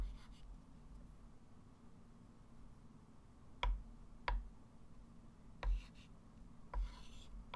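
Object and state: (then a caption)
Chalk tapping and scratching on a chalkboard. A hand writes and circles numbers with a white chalk stick on a small, solid, wood-framed flat chalkboard. Soft chalk scratching runs over a steady low hum, broken by several sharp, bright taps of the chalk against the board.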